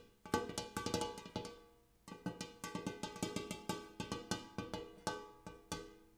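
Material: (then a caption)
Metal. Fingertips and nails tap repeatedly on the dimpled inner surface of a large, shallow, empty gold hammered metal bowl. Quick, uneven bursts of taps each ring with a short metallic tone around 480 Hz and a bright shimmer. After a brief pause near the two-second mark, the tapping resumes and continues steadily to the end.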